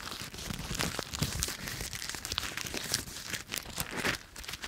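A small handful of brown, dry autumn leaves is held in one bare hand in front of a microphone while the fingertips and palm crush and crumple them by squeezing and rubbing. A dense, bright crackling and crunching runs continuously, with sharp snaps and brief tearing crinkles rising and falling throughout.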